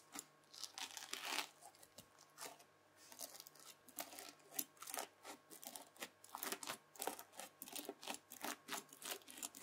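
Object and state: Bead-filled floam slime.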